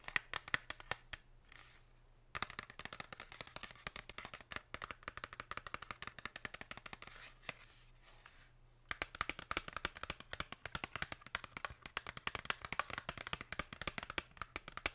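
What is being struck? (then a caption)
Printed cardboard box. Long pink nails tap rapidly on the glossy printed face of a held-up Lindt Excellence cardboard chocolate box. The bursts of sharp, bright clicks pause briefly near 2 and 8 seconds. A faint low hum runs underneath throughout.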